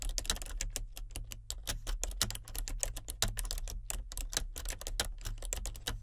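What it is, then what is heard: Plastic computer keyboard being typed on. Fingertips and nails type continuously on a full-size plastic computer keyboard with color-changing backlit keys. Rapid, crisp key clicks with bright tops crowd together in a steady run, each tap dying away almost instantly. A constant low hum sits underneath throughout.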